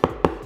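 Two light taps on the unscrewed bottom cover of an Infinix GT Book laptop give short, dull knocks with a mid-range tone around 450 Hz that die away almost at once. The cover sounds like plastic rather than metal, and it also doesn't feel cold to the touch.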